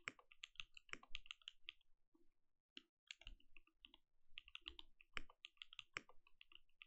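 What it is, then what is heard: Mechanical keyboard with plastic keycaps. A compact mechanical keyboard with plastic keycaps is typed on continuously with the fingertips of both hands. It produces a rapid stream of crisp, bright clicks with a soft low thump under each press. The typing briefly pauses around the middle before picking back up.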